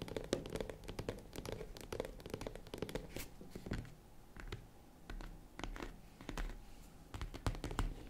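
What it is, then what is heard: Faux leather zippered case, tapped. Long nails tap quickly on the top edge and lid of a hollow, box-shaped tan faux leather zippered case. The taps come as dense, soft, dull clicks over a low thud, with faint scratching between them and short breaks in the tapping.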